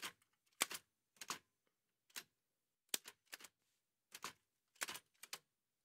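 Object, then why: Manual typewriter, metal body. White satin-gloved fingertips press the keys of a large, heavy old Remington manual typewriter with a dark painted metal body and paper loaded. The keys and typebars strike in short, dry, bright mechanical clacks, arriving in small bursts separated by pauses. Each strike stops almost instantly, with little ring.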